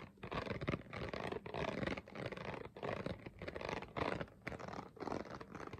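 A clear, ridged, hollow plastic water bottle is held up and scratched and tapped with fingernails. The result is a dense, crinkly stream of short scratches and taps in quick bursts with brief pauses between them, mostly in the low and mid range with little ring.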